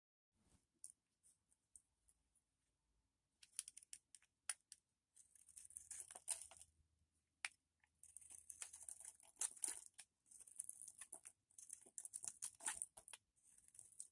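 A metal knife blade scrapes and carves shavings off a solid, red, rounded bar of dry soap held in one hand. The sound is quiet, high and bright: dry, crisp scratching and crackling with short ticks at first, building into longer, denser bursts of scraping.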